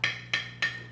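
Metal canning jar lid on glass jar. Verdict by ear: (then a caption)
Sealed. A teaspoon taps three times on the top of a metal canning lid on a glass jar, with the band removed after canning. Each tap gives a bright, tinny ring around 1.8 kHz that fades quickly, the sound of a properly sealed jar rather than a dull thud.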